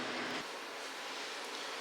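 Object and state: Nothing is struck.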